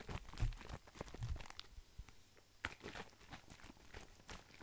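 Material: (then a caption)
Plastic. Fingertips tap and handle a hollow, hand-sized blue plastic skincare bottle, its contents not visible, turning it so the cap end comes near the microphone. A quiet series of short, dry taps with low thumpy bodies mixes with crinkly, crunchy handling noise. Each hit dies away almost at once.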